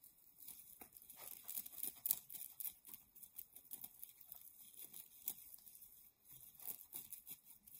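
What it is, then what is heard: Nylon mesh bath pouf scratched and squeezed. A soft, hollow yellow-white nylon mesh shower pouf, held in both hands, is scratched and squeezed with long nails. Quiet, dry crinkling and scratchy rasps come in irregular bursts with some louder crackles, bright and hissy with almost no low end.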